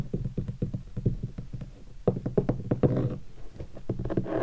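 Fingertips tap across the body and along the edge of a hollow guitar hard case covered in black textured leatherette and stickers. A quick, uneven run of soft taps gives low, hollow thuds around 120 Hz that die away quickly, with some taps grazing the surface to add a brief brushy rustle.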